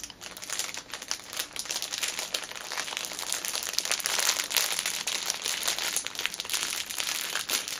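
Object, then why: Fitness band in clear plastic cellophane wrapper. A folded orange fitness band sits in a clear plastic cellophane wrapper while fingernails scratch the film and hands press and squeeze its edges. The result is a steady, dense stream of bright crinkling and crackling with quick sharp peaks and almost no low end.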